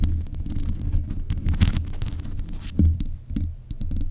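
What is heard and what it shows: Long nails scratch and tap the metal mesh grille on the head of a black USB condenser microphone. The result is a dense run of deep, muffled thumps and rumbling scrapes, almost all low in pitch, with a few brief crackling ticks over the top.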